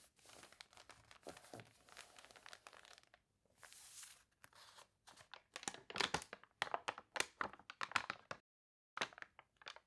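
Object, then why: Glossy paper catalog with water-wrinkled pages. Long dark nails and fingertips scratch, press and turn the pages of a thick glossy paper toy catalog lying open on a table, its pages wavy from being sprayed with water. A soft, steady scratching rustle gives way to louder, sharper bright crinkles and crunches in quick bursts. The crinkling pauses briefly before a few last crisp crackles.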